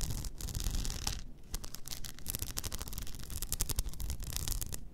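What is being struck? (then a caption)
Rhinestone-covered tumbler. Long nails scratch over an upright blue rhinestone-covered tumbler with a frosted lid. The result is a dense, continuous rasping with bright, rapid clicky ticks as the nails catch on the stones, over a low rumble.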